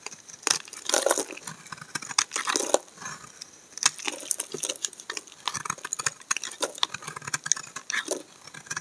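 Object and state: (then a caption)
Bar of laundry soap being shaved. A utility knife blade scrapes long curled shavings off a solid green soap bar with an embossed logo, held in the hand. The sound is a run of dry, crisp, bright scraping and crackling strokes with short pauses between them, and no low end.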